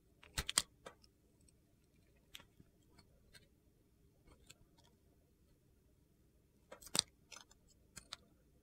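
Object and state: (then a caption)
Glitter-coated bar soap being carved. A utility knife blade shaves and carves thin slices off the edge of a small solid bar of soap with a brown glitter coating and white interior, held in a hand with red-nailed fingers. Short, crisp, bright crunching scrapes come in quick bursts near the start and again toward the end, with fainter scratches in between over a quiet background. Each cut stops sharply with no ring.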